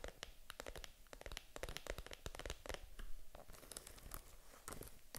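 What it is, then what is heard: Faux leather mini handbag. Long nails tap and scratch the front, then the side near the metal zipper, of a small, hollow pink vegan-leather mini handbag. A rapid, irregular run of dry, bright clicks and short scratchy rasps sounds over a faint low rumble. Each tap dies away almost instantly, with no ring.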